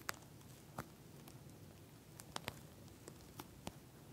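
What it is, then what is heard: Plastic gel bead eye mask. Fingernails tap with single fingers, then scratch with both hands, on a pink gel bead eye mask with a plastic shell. Quiet, sharp, bright clicks stand out at uneven intervals over a soft, low, steady rustle, each tap dying away almost instantly.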